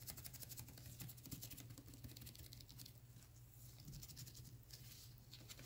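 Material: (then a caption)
Plastic. Black nitrile-gloved fingertips tap and scratch the sides of a clear plastic Vitamin E gel bottle, about 12 oz and full of yellow gel. A steady stream of quick, soft clicks and bright scratchy patter runs over a low, constant hum near 125 Hz. The sound is close and quiet throughout.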